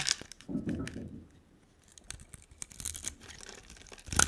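A hand-sized solid green bar of soap with a dark coating, held in one hand, is scraped and carved into strips with a utility knife blade. Dry, crisp scraping and crinkly tearing sounds come in short bursts, with a softer, duller stretch of shaving early on. The clip ends with a brighter, sharper scrape.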